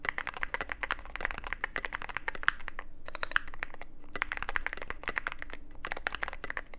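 Fingertips type on a Cyberboard mechanical keyboard with plastic keycaps and a black aluminum case. Rapid, crisp clacking keystrokes with bright, short clicks slow into a brief lull near the middle before picking back up, over a faint steady low hum.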